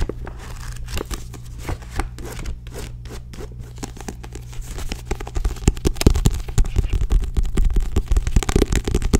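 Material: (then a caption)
Paper. Long nails tap and scratch the back cover of a small paperback book lying flat, making dense, irregular clicks and scrapes over a steady low hum. The tapping grows louder and busier in the second half.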